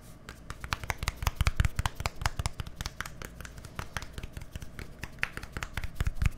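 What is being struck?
Plastic deodorant stick.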